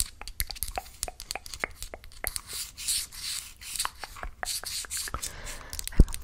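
A small, hollow, closed orange and yellow printed cardboard box with a barcode, held in one hand, is tapped and scratched with long acrylic nails. Rapid, dry, clicky taps alternate with stretches of hissy, rasping scratching, ending with one louder tap near the end.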